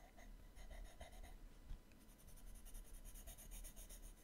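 An orange colored pencil draws and shades on the right-hand page of an open paper sketchbook lying flat on a table. Quiet, dry scratching and rubbing strokes come in rapid bursts, each with a bright, hissy edge over a low, soft rumble.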